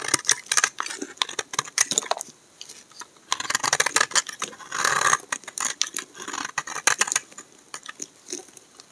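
A solid, dry, cream-colored bar of soap held in the hand is scraped and cut with a utility knife blade, and the shavings fall onto a pile of soap flakes. The result is a rapid run of crisp, dry scraping and crackling strokes that are bright and high with almost no low end. Short pauses break up the strokes, and a longer, denser scrape comes near the middle.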